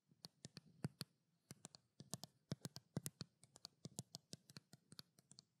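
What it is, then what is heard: Plastic skincare bottle. Long black nails tap and scratch the paper label of a small white plastic skincare bottle, making around thirty quick, dry clicks in an irregular rhythm. Each tap has a soft low thump and a bright tick, and dies away almost at once. Faint scratchy rustle fills the gaps at a quiet level.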